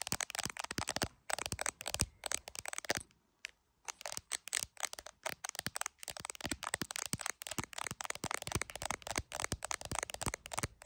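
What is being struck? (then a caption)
Phone in clear plastic case with glass camera lens. Long acrylic nails tap fast on the glass camera module and clear plastic case of a handheld iPhone. The result is a rapid stream of sharp, bright clicks with almost no ring, broken by a brief quiet pause near the three-second mark before the tapping resumes.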